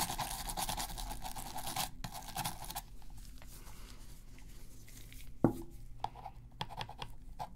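A toothbrush scrubs a black, hollow plastic PS3 game controller near its top buttons while gloved hands hold it during a deep clean. Dense, bright, scratchy bristle strokes fill the first few seconds, then ease into quieter, intermittent brushing. A single sharp plastic knock with a brief low ring stands out partway through, followed by light scrapes.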